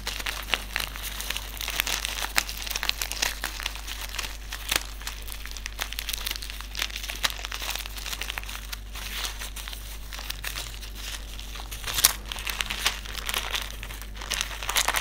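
Fingertips rub and crinkle a small white silica gel desiccant sachet filled with silica beads, producing steady bright crinkling and rustling for the full length. Sharp, quick crackles stand out throughout, with a louder burst around the twelfth second, over a faint, constant low hum.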